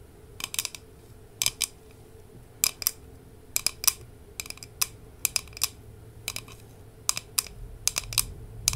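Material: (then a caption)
Glass. Long nails tap a large, hollow glass jar with a glass lid, full of Haribo gummy candies and held close. The taps come in quick bursts of two or three sharp, bright clicks with almost no ring, spread across the clip over a quiet low hum.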